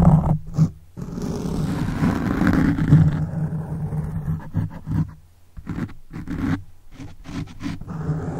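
Fingertips of both hands scratch a black foam microphone windscreen, producing a close, muffled, rumbling scrape that sits almost entirely in the low range. A long continuous stretch of scratching gives way to a brief near-silent pause, then uneven bursts of rubbing.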